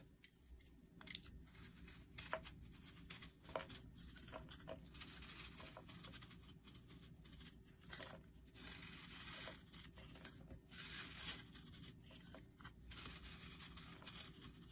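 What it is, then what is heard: Bar soap being carved. A solid round yellow bar of soap, held in the hand, is scraped and carved with a metal blade. Soft, dry scraping and crisp shaving sounds run through the clip with a bright, papery texture, punctuated by a few sharper cuts. A faint steady low hum sits underneath.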